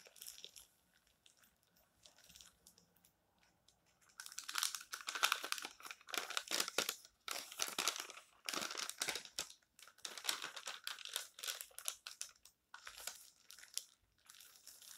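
Flat hands rub the pages of an open, thin paper tabloid magazine lying on a table, then lift a page, turn it and press it flat. After about four quiet seconds of faint touches, dense bright rustling and crinkling comes in repeated bursts with short pauses between them.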